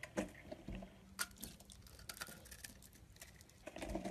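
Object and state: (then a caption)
Bar soap shaved with a blade. A solid beige bar of soap held in the palm is shaved into flakes with a utility blade. Soft, crisp scraping and flaking sounds come in a quiet, irregular run of short bursts, with a few sharper cuts standing out.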